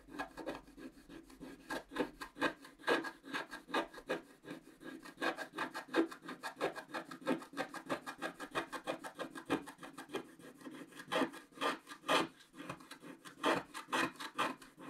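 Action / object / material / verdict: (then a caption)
scrape / wooden stick scraping coated scratch-art paper / coated paper / none. A wooden stick scrapes the black coating in the middle of a scratch-art paper page while the other hand holds the page steady. The result is a quick, uneven run of dry, raspy scratching strokes, about two per second, with a papery mid-range rasp and bright edges and almost no low end.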